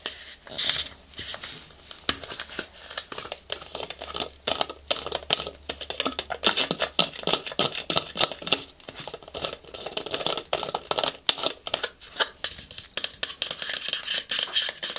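A white, medium-sized hollow plastic lotion pump bottle is tapped and scratched with long nails along its body and pump. The result is a dense run of quick, dry, bright clicks and scratchy rasps with almost no low end. Each tap dies away almost instantly.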